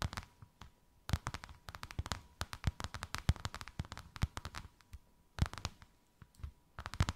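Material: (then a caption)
Faux leather. Long white acrylic nails tap and scratch quickly on a thin white faux-leather sheet with a snakeskin emboss, draped over something rounded. The result is bursts of dozens of short, dry taps with a soft low thump and crisp clicky tops, separated by brief quiet pauses. A faint steady tone near 1 kHz runs underneath.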